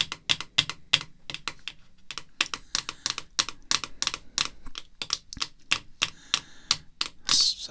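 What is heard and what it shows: Long red fingernails tap rapidly on the back of a clear plastic graded card slab with a card inside, lying on black cloth. The taps are sharp, bright and clicky, with almost no ring and little low end. A brief brushing burst comes near the end.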